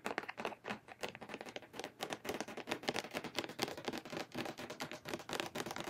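Long painted nails tap rapidly and continuously on a medium plastic foaming hand-soap pump bottle, mostly full of liquid and held in both hands. The taps are quiet, crisp and clicky, with bright highs, little low end and almost no ring after each tap.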